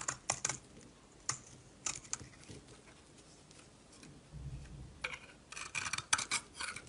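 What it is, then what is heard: Bar of soap being shaved. A solid orange-yellow bar of soap held in the palm is shaved with a metal utility knife blade, and yellow soap curls fall off. Short, crisp, bright scraping cuts come in quick bursts, with quiet pauses between them and a denser run of strokes near the end.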